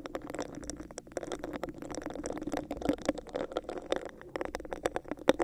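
Long acrylic nails scratch and tap the raised texture of a hollow, clear textured plastic cup held over a microphone. The result is a dense stream of quick, dry clicks and scratchy rasps, with a hollow mid-range tone near 460 Hz and brief bright ticks.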